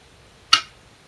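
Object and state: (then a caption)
Glass go stone placed on a shinkaya wood board. A Korean glass go stone (size 36, 10.2 mm) is placed normally, not slammed, onto a 2-inch shinkaya wood floor go board while replaying a professional game. A single sharp, bright click rings briefly in the high range, then fades quickly into quiet.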